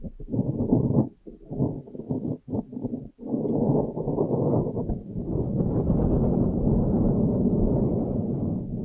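Long painted nails scratch and tap across a soft, porous, hollow blue foam windscreen fitted on a microphone. The result is a close, muffled rustling scrape, heavy in the lows with almost nothing bright on top. The first few seconds come in short, uneven bursts with brief pauses, then it settles into a steady, continuous rubbing to the end.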